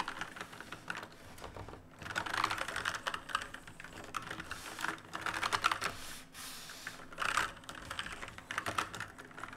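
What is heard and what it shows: Fingertips of both hands type fast on a full-size black plastic and metal mechanical keyboard with plastic keycaps and RGB backlight, resting on a wooden desk. Dense bursts of bright, sharp clacks come in quick runs separated by short pauses, each keystroke dying away almost instantly with little low end.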